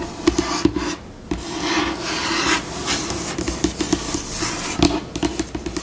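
Long pink acrylic nails scratch and rub across a solid, flat white glossy laminate tabletop. Dry, rasping strokes mix with sharp nail ticks and taps, and the pace shifts between slow and fast. There is a brief, quieter lull near the one-second mark.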